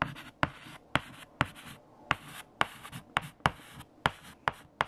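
Fingertips press a white chalk stick against a large, flat black chalkboard bearing the 7-times table, writing with scraping strokes. Eleven sharp, bright taps of chalk against the board stand out, each followed by a short, airy scratch. A low hum sits quietly underneath.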